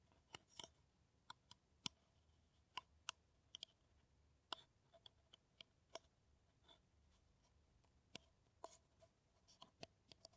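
Long nails tap and scratch an empty, hollow kraft paper coffee cup, making about twenty sharp, dry clicks spread unevenly over ten seconds. Each tap is bright and quick, with a light papery ring around 3 kHz that dies away almost at once, and faint scratching fills the gaps between taps.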